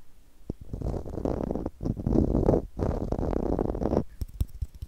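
Long nails scratch and tap a small, hollow blue plastic screw cap. Dense, grainy scratching comes in three long bursts with a low rumbling body, followed by a run of short, sharp taps at the end.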